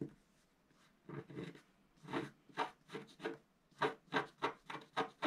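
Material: Coated paper.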